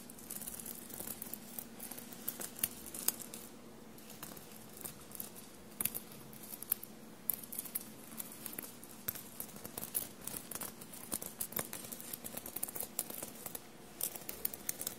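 Blue-painted fingernails tap and scratch across a navy studded shirt fabric with silver metallic dots, giving a quiet run of crisp clicks and dry scratchy rustles over a faint low hum. The many sharp taps sit apart in irregular clusters, bright and short with no ring.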